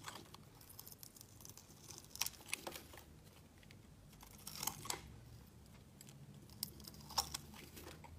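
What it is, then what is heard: Glycerin soap bar scraped with a blade. A solid translucent red glycerin soap bar, held in hand, is scraped with a metal utility blade into fine curls. Quiet, bright, crisp scraping and crinkling strokes come in short bursts over a soft hiss, with a few sharper clicks standing out.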